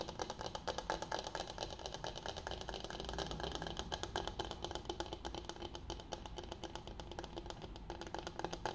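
A flat, solid bamboo cutting board of medium size with rounded corners is held upright while fingertips and nails tap and scratch its face and edges. The result is a steady, quiet stream of dense, dry clicks and scrapes with short ring, mostly in the midrange.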